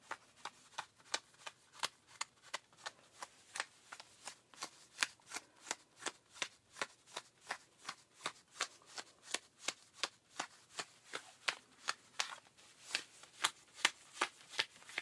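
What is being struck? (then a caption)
Denim jeans back pocket. A pink rubber-gloved hand scratches with its fingertips at the back pocket area of tight blue denim jeans. About 40 short, dry, bright scratching strokes follow one another at an uneven pace, roughly two to three per second, with a hissy high texture, almost no low end, and no ring after each stroke.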